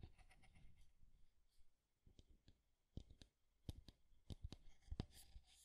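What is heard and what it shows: Nails and fingertips tap and scratch along the curved wooden side and front of a small square light-wood alarm clock with a solid body, held close to the mic. Quiet, dry, short taps with a low, dull body sit among soft scratchy rustles, each tap dying away almost at once.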